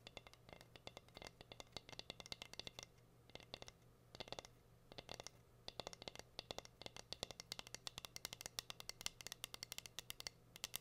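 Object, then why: Wooden cutting board. Long green nails tap and scratch the surface of a plain, solid, flat wooden heart-shaped cutting board with a hang hole, held upright. Bursts of quick, bright, dry clicks die away almost instantly, with short pauses between them. A faint steady low hum sits underneath throughout.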